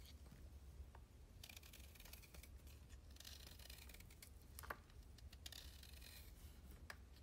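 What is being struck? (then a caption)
Chalk stick cut with a blade. A hand-held solid cylindrical stick of soaked green chalk is repeatedly scraped and carved with a utility blade, which shaves off soft chunks. Quiet, bright scraping and crisp shaving strokes sit over a steady low hum, with a few sharper clicks where chunks break away.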